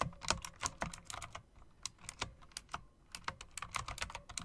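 Long dark press-on nails and fingertips tap rapidly on a full-size backlit mechanical keyboard with a solid body and round typewriter-style plastic keycaps with chrome rims. The result is a quick, uneven run of crisp, bright clicks and clacks, each with a light low thump and almost no ring, and a brief lull in the middle before the typing picks up again.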